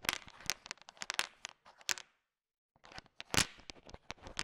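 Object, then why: Bowl of sugar-shelled peanut chocolates. A thin wooden stick stirs and sweeps through a heap of small, hard, sugar-shelled peanut M&Ms filling a bowl. It makes dense, bright, dry clicks and rattles as the candies knock together. The mixing stops briefly for about half a second of silence, then resumes with more rattling.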